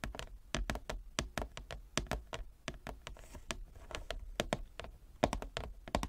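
A large, flat, inlaid wooden chess board is tapped with long nails and fingertips. Rapid, irregular dry taps mix sharp clicks with soft, low thunks centered around 600 Hz. Each tap dies almost at once with no ring.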